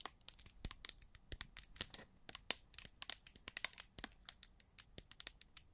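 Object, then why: Small plastic jar. Long pointed black-to-silver nails scratch and tap a small, square, orange-red plastic slime jar with a gold label and a dark lid, held in both hands and looking filled. The result is a quiet, rapid series of sharp, bright clicks and crinkly scratches, each dying away almost instantly, with very little low end.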